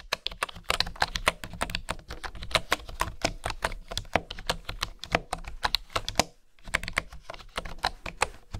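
Fingertips and nails type on a bamboo wooden keyboard, close up, making a rapid, steady stream of short, dry, bright taps and clicks. A brief pause comes just past six seconds before the typing resumes.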